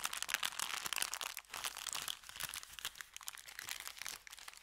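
An empty brown kraft paper bakery bag is bent and crinkled in the hands, then rubbed on felt. A dense, continuous run of bright, dry crackles and rustles fills the clip with almost no low end. The crinkling stays steady with small surges of sharper snaps throughout.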